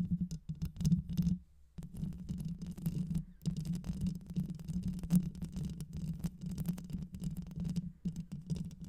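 Long white nails quickly scratch the rounded metal mesh grille of a black microphone with a hollow head. The result is a dense, rapid, low, muffled scratching rumble with short brushing bursts, broken by brief quiet gaps. Almost all of the sound sits in the low range, with little brightness.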